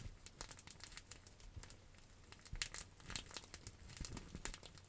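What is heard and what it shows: A clear plastic bubble wrap pouch held in the hands is scratched and crinkled with long acrylic nails. The result is a quiet, dense stream of bright crinkles and short scratchy ticks over a low rumble, with a few sharper crackles standing out.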